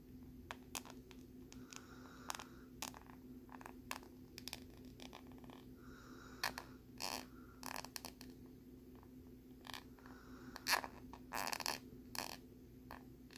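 A metal needle is scraped across the ridges of a thin, flat plastic lenticular card with a butterfly print. Quiet, quick, bright scratches and clicks come in irregular strokes over a faint steady low hum. A few louder, longer rasping scrapes near the end stand out above the rest.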